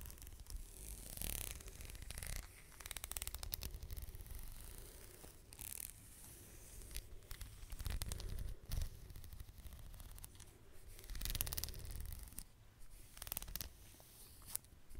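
Long fingernails scratch and tap along the strap of a black leather belt held upright next to the microphone. Soft, dry rasping scrapes come in bright bursts, mixed with light taps over a steady low rumble.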